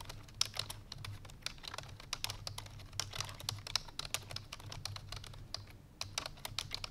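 Fingertips with long painted nails rapidly press the keys of a full-size black plastic computer keyboard resting on a white fur rug. A fast, uneven stream of sharp, bright, clicky taps stops dead after each strike, over a faint steady low hum.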